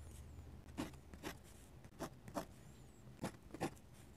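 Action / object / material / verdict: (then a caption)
scrape / metal-nib dip pen on a paper sketchbook page / paper / none. A metal-nib dip pen scratches and hatches on the page of an open paper sketchbook, close to the mic. Short, bright scratchy strokes come in uneven bursts over a quiet, steady low hum.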